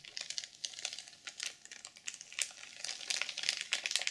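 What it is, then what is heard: Sequin journal in plastic wrap. Long purple acrylic nails scratch and tap the cover of a rectangular, notebook-sized black sequin journal, still sealed in clear plastic film and lying flat on a pink wooden table. It makes a dense stream of bright, crinkly scratches and quick, dry taps with almost no low end, rising and falling in short bursts that die away instantly.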